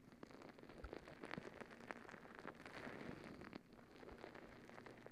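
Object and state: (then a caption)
Rubber stress ball with gel beads. Long acrylic nails scratch and squeeze a palm-sized rubber squishy stress ball full of gel beads. The result is a quiet, steady crackle of quick clicks and scratches that patters like rain on a surface, with soft squishing underneath and a few sharper taps.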